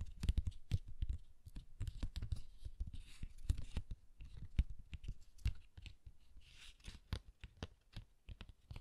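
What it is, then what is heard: Cardstock greeting card. A closed red cardstock pop-up greeting card with a guitar logo is held in both hands while fingertips and nails rub and scratch its surface and edges. Soft, dry scratching and tapping clicks come in rapid, uneven bursts, with dull low thumps under faint brighter hiss.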